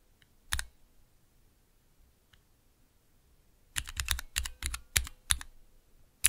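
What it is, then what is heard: Plastic mechanical keyboard switch tester. Fingertips press and tap the clear plastic keycaps of a small 3x3 plastic switch tester with Cherry MX switches set in a clear plastic base, resting on dark velvet. A single sharp click sounds early, followed by a quiet pause with a faint tick, then a quick, irregular run of crisp, bright clacks with a low thock under each press and almost no ring.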